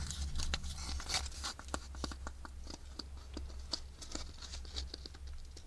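Long nails scratch and tap the grid-patterned surface of an empty, hollow wafer ice cream cone held close, making quick, irregular dry crackles and bright clicking taps. A steady low hum sits underneath the whole time.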